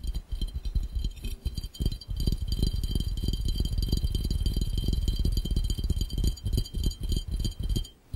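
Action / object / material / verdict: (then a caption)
tap / empty glass fishbowl / glass / none. Fingertips of both hands tap very fast on an empty, clear, round, hollow glass fishbowl. The result is a dense, uneven patter of short, dull thuds with mostly deep, low energy and faint bright glassy tones above. The taps barely ring, and the sound dips into a brief lull just before the end.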